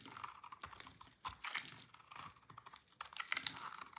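A dry, solid white and peach marbled oval soap bar, held in hand, is cut into brittle flakes with a utility knife blade. Rapid, crisp, dry crunches and scraping snaps sound in quick succession, bright and thin with almost no low end, each dying away almost instantly.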